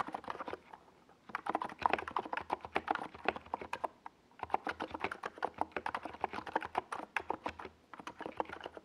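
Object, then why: Plastic mechanical keyboard. Fingertips of both hands type on a NiZ Plum Atom 68, a compact 68-key mechanical keyboard with a white plastic hollow case and purple and yellow Domikey Gas Attack plastic SA keycaps, resting on a desk pad. Dozens of quick, dry, clacky keystrokes with a midrange tone near 965 Hz come in rapid bursts, with short pauses around 1 and 4 seconds. Each stroke stops almost instantly, leaving no ring.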